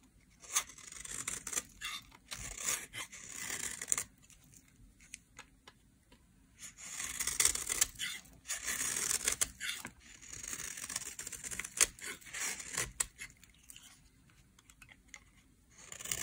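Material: Soap.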